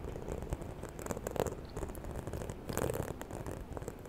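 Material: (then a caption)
Faux leather. Long nails scratch and tap the surface of a small, hollow, white croc-embossed faux leather handbag held close to the mic at the side. The result is a continuous, soft, low-heavy rustling scrape, broken by a few slightly louder, dull taps that die away almost instantly.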